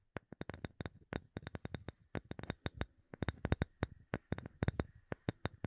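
A small, solid, light wooden block held in both hands is tapped quickly with long nails, giving about 34 sharp, dry taps in an uneven rhythm. Each tap has a low knock and a bright click that cut off almost instantly, with a faint hollow tone in the upper mids.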